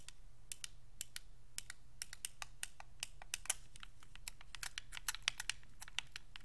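Thumbs press the buttons, d-pad and thumbsticks of a white Xbox 360 controller made of hollow hard plastic, producing a quick, irregular run of sharp, bright clicks. Each click dies away almost instantly, over a steady low hum.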